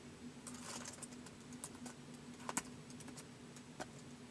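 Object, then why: Plastic laptop keyboard. Fingertips type slowly on the keys of a white polycarbonate laptop resting on carpet, the keys tapping against the hollow body. Soft, brief, bright clicks arrive unevenly over a faint steady low hum, with a few sharper taps standing out.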